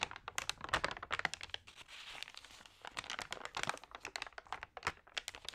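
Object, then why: Thin paper magazine pages. Fingertips rub and turn the wavy, damp pages of an open magazine of thin paper that has been sprayed with water. Dense bursts of bright, crisp crinkling and crackling dominate, with almost no low end. A softer, steady papery rustle fills a short stretch in the middle.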